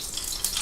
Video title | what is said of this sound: A Superbowl Party! | That means that it's at a high smoke point and ready to do.